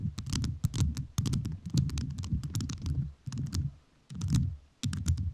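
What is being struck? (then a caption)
Rhinestone-covered microphone. A microphone fully covered in rhinestones is tapped with fingertips whose nails are also rhinestone-covered, giving rapid bursts of crisp, clicky taps. Each tap has a bright tick over a dense low thump, with short quiet gaps between the bursts.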